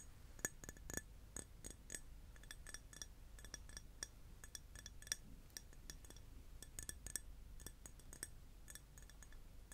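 Glass is tapped repeatedly, producing a quiet, irregular series of bright, short clinks that die away almost instantly. A steady low hum sits underneath the taps.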